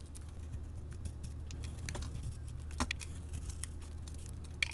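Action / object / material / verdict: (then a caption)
scrape / bar of soap shaved with a metal blade / soap / none. A solid yellow soap bar with a printed wrapper layer is held in hand and shaved with a metal blade into translucent curls. Soft, dry scraping crackles and quick bright ticks patter unevenly over a steady low hum, with a few sharper clicks standing out near the end.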